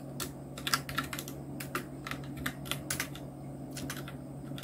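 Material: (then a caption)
Plastic. Fingertips of both hands type on a full-size black Nubwo Illution NK-70 mechanical keyboard with Outemu red switches, round plastic typewriter-style keycaps and blue backlight, resting on a white desk. Quick, soft plastic clacks with bright ticks come in an uneven typing rhythm, each dying away at once, over a steady low hum.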